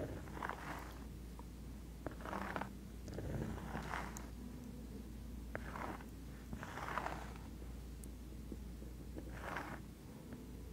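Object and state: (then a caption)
Cork coaster. Long acrylic nails scratch and tap the surface of a round, thin, flat, solid cork coaster held up close to the mic. Quiet, soft, breathy scratching swells come in bursts, broken by faint sharp taps, over a steady low hum.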